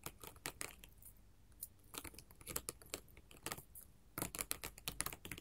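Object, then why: Glass mosaic tile sheet. Long gold metal filigree finger claws tap rapidly on a flat sheet of colored glass mosaic tiles. The result is quick, bright, clicky taps in irregular bursts with brief quiet pauses, each tap dying away almost instantly.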